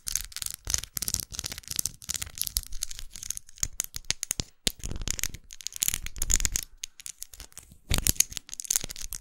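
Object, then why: Plastic lipstick case. A small red faceted plastic lipstick tube with a dark band, held upright, is tapped rapidly with long acrylic nails. The result is dense, irregular bursts of sharp, bright plastic clicks and ticks with brief pauses, each dying away almost instantly.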